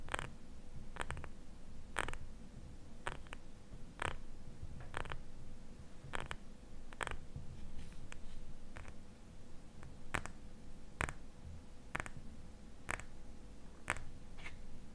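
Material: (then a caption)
Glass. Fingernails tap and scratch a small glass jar filled with cream, held in both hands. Short, sharp, bright clicks come at a steady, irregular pace, each dying away almost at once, over a low, rumbling background with a faint steady hum.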